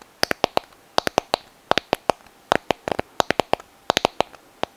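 A white, hollow, palm-sized sand dollar shell held in both hands is tapped and scratched with long nails. About 24 sharp, dry clicks come in quick irregular clusters, each with a hollow tone near 700 Hz and a bright edge. Every tap dies away almost instantly into near silence.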